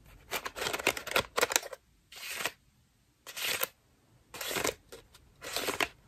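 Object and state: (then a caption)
Foam bath loofah being scratched. A cream foam bath loofah with a rope loop is squeezed in both hands and scratched with long nails, making bright, crackly scratching and rustling bursts. A dense cluster of scratches is followed by several shorter separate bursts with quiet gaps between them.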